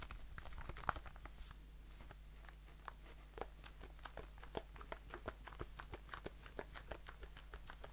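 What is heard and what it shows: A blue aluminium shaving foam aerosol can with a metal bottom and a plastic cap is held in the hand and tapped with the fingertips. It gives a quiet, quick series of short, dry clicking taps with almost no ring, over a steady low hum.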